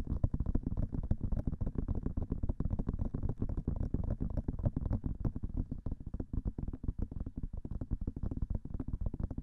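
Long nails tap rapidly on both silicone ears of a binaural microphone, producing a dense, continuous patter of soft, muffled thuds. The taps are deep and low, with little brightness and almost no ring, and they run unbroken throughout.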